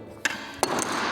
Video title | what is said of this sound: Victor Drive X12: A Game-Changer for Juniors & Adults! | You can hear that little ping sound, that high pitch sound, of when the racket touched the floor.